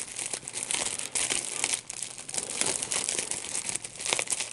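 A small piece of clear plastic wrap with large, hollow, air-filled bubbles is squeezed and popped between the fingertips and thumbs of both hands. A steady, bright crinkling runs throughout, broken by many sharp, quick pops that die away almost instantly.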